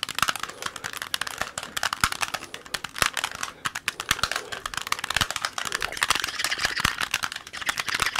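A small solid plastic Rubik's cube with colored stickers is held close to the mic while fingertips twist its layers quickly. The result is a dense run of sharp, bright plastic clicks and crackles with almost no low end, each click dying away almost instantly.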